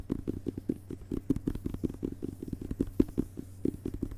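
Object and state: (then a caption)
Hardcover book with paper dust jacket. Fingertips tap quickly on the glossy paper dust jacket of a closed, solid hardcover book lying on carpet, first back cover up and then front cover up. A rapid, uneven run of about 26 soft, dull taps is heard, each a short muffled knock with a low body and no brightness, dying away almost instantly over a faint low hum.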